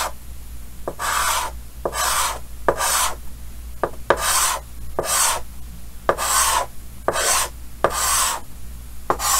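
Yellow chalk held in the fingers scratches hatching lines across a large, flat, solid painted chalkboard with a green frame. Bursts of bright, scratchy rasping alternate with sharp taps as the chalk meets the board, over a steady low hum.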